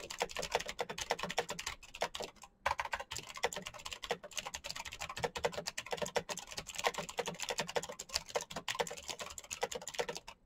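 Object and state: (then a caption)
Clicky mechanical keyboard. Fingertips type fast on a full-size black plastic Razer mechanical keyboard with clicky green switches and RGB backlight. A dense, steady stream of sharp, bright key clicks with very short decay runs throughout, with only a brief pause near the middle.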